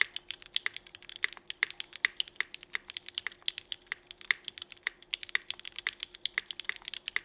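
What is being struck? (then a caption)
Mechanical keyboard with plastic keycaps. Both hands type with their fingertips on a 65% mechanical keyboard with Cherry Vintage Black switches, an aluminum plate and red-and-black GMK Burgundy ABS plastic keycaps. About 54 quick keystrokes land in a steady, uneven rhythm. Each is a crisp, bright clack centered near 2 kHz that stops almost at once, over a faint steady hum.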